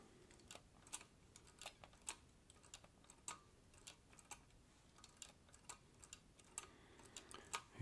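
Fingertips press the keys of a green vintage Olivetti Lettera 32 portable typewriter with a metal body. Quiet, irregular typing produces sharp, bright key clicks with a short metallic snap over a low, steady hiss. Each strike dies away almost at once.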